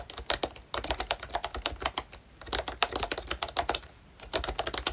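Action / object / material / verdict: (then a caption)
tap / plastic membrane keyboard with round keycaps / plastic / none. Fingertips of both hands type on a full-size pink ROYCHE Disney Mickey Mouse retro keyboard with a plastic case, round dark green plastic keycaps and membrane switches. Rapid, dry plastic clicks and taps come in quick bursts with brief pauses, each keystroke short and bright with little low end.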